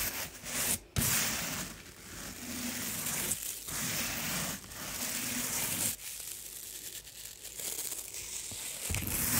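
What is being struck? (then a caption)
Coiled jute rope mat. A round, flat, solid coiled jute/sisal rope placemat lying on carpet is brushed with small stiff-bristle scrubbing brushes, first a blue-handled brush and then a dark-backed one. The rubbing makes a bright, scratchy, crackling rustle that runs in sustained strokes, broken by a few brief pauses.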